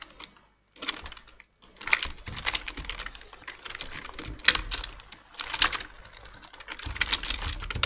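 Two hands type with fingertips on a black plastic full-size computer keyboard, producing rapid bursts of bright, dry key taps. The clicks come in uneven flurries separated by brief pauses, including a near-silent gap early on. Each tap dies away almost instantly with little low end.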